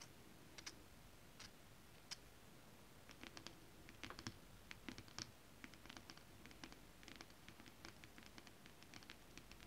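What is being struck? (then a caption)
Holographic scale-print fabric. Long acrylic nails tap and scratch across flat holographic mermaid scale-print fabric. Soft, irregular clicks and short bright scratches patter over a quiet, low hiss, each tick dying away almost at once.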